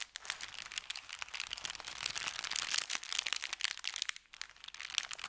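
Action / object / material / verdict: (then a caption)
scrape / thin kraft paper bag / paper / none. An empty, folded paper bakery bag of thin kraft paper is bent and crinkled by hands, then pressed flat with fingertips. The result is a dense, continuous run of bright, crisp crackles and rustles with almost no low end, dipping briefly near the four-second mark before the crinkling resumes.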